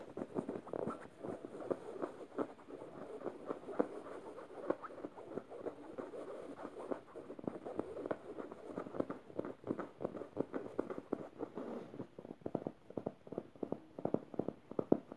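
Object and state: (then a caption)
Plush fabric pillow being scratched. Fingernails quickly scratch the felt tongue patch on a yellow stuffed emoji cushion made of plush fabric. The result is a soft, dense patter of rapid, dry scratches, muffled and centered in the low mids, with no bright top. The strokes continue at a steady, brisk pace throughout.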